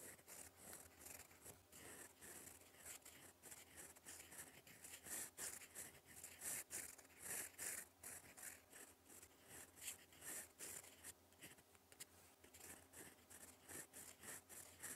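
A gold fountain pen nib writes in black ink across a flat, lined cream paper sheet in cursive strokes. The quiet, bright scratching comes in rapid, irregular bursts of short strokes over a faint, steady low hum.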